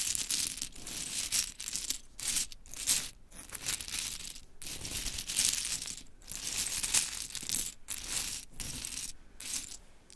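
A pile of mini pink wooden clothespins is lifted and dropped by long chrome nails, which also scratch through the pile. Bright clattering and scraping clicks run almost continuously in dense clusters, broken by a few brief pauses.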